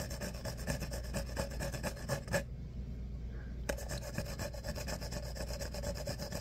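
Fingertips scratch and rub along the ribs of an empty, hollow, tall disposable paper coffee cup with a corrugated outer wall, and the cup is then held up. A quick, rhythmic, raspy scratching of about two strokes per second carries a hollow tone near 555 Hz over a steady low hum. The scratching stops for about a second partway through, then resumes with the same pattern.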